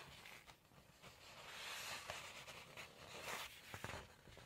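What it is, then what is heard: Glossy cookbook page being scratched and turned. A steady airy hiss of nails scraping across a smooth page, then crisp, brighter rustles and a couple of sharp flicks as the sheet lifts and turns. The sound sits mostly in the high range with no ring, typical of coated paper.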